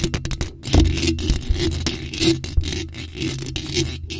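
Long pointed nails scratch and tap over the top of a bare, hollow black metal mesh microphone grille. Quick, sharp scratching strokes and taps blend into a steady scraping with a heavy, boomy low end and a faint bright hiss.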